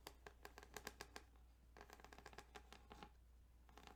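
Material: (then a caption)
Plastic. Fingertips tap and scratch across the ridges of a plastic Tetris Game Boy cartridge. A run of quick, distinct taps gives way to denser, rapid scratching clicks. The sounds are quiet, short and dry over a steady low hum.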